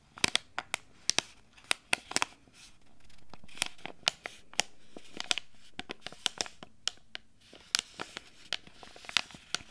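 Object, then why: Foil and plastic sachet. A small, flat foil-and-plastic Earth Kiss sheet-mask sachet is held in both hands and crinkled and scratched with long red nails. Around thirty sharp, bright crackles and clicks ring out over a soft, rustling hiss that swells in the middle of the clip.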